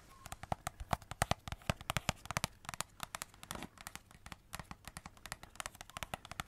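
A hollow cardboard Christmas cracker wrapped in glitter paper and silver foil, with purple glitter ends and a silver middle, is rapidly tapped and scratched with long red nails. Dozens of sharp, dry clicks and crackly taps come in a quick, uneven stream, each dying away almost instantly. A brief papery scratch rises midway through.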